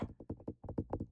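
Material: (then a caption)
Pumpkin rind. A pumpkin is tapped in a quick, uneven series of dull, hollow knocks. Each knock is short and low-pitched with almost no ring, giving a clip-clop-like rhythm.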